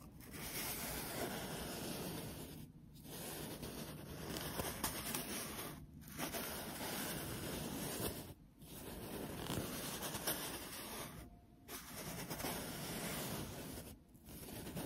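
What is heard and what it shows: An empty, small, hollow brown cardboard toilet paper tube is held close and rubbed and scratched along its surface with fingertips and long nails. A steady, broadband papery rasp runs in long strokes, broken by brief quiet pauses roughly every three seconds.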